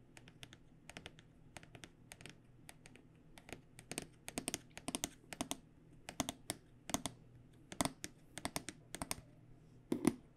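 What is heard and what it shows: Fingernails tap rapidly on the aluminum rails of a hollow, aluminum-edged black hard microphone case. Quick bursts of sharp, bright clicks die away almost instantly over a faint, steady low hum, with the loudest taps near the end.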